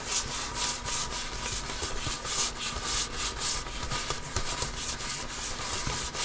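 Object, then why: Composite leather basketball. A full-size inflated, hollow Wilson Evolution basketball with a pebbled composite leather surface is held in both hands and scratched and rubbed with the fingertips and nails. The result is a continuous, bright, hissy scratching texture with a soft low thump underneath, swelling in irregular strokes for about six seconds.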